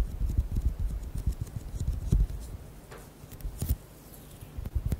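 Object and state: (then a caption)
Bead-filled rubber squishy ball. Fingernails tap and squeeze a hand-sized, orange, bead-filled squishy rubber ball. Quick, dull, low thuds and soft pattering come in a dense run, with faint bright clicks on top. The tapping thins out partway through, then returns in brief bursts.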